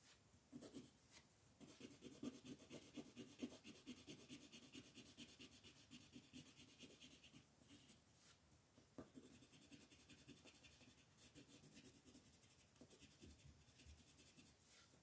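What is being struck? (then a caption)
Wooden colored pencil on paper. A dark green wooden colored pencil shades a large flat sheet of coloring paper lying on a table, with the other hand resting flat on the sheet. Quiet, dry scratching and rubbing comes in quick back-and-forth strokes with a bright, papery hiss. It pauses briefly a few times before the steady shading resumes.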